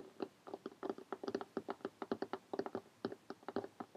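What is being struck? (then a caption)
Cloth-covered hardcover notebook. Long painted fingernails of both hands tap rapidly on a closed lime green cloth hardcover notebook lying flat. About twenty-two quick, dry, hollow taps, each with a short midrange knock that dies away almost at once, fall in an uneven, patter-like rhythm over four seconds.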